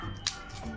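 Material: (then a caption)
Fried dough. A dried red chili sago-potato chakli is broken by hand, giving one sharp, bright crack with a short crisp rattle. The snap is well crisped and crunchy.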